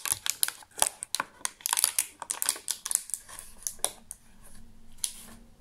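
An empty clear thermoformed plastic chocolate insert tray with many cavities, held in both hands, is tapped with fingertips and nails. About eighteen quick, dry, bright clicks and ticks come in an irregular rhythm, each dying away almost instantly. Toward the end the tapping thins out over a faint, soft background hum.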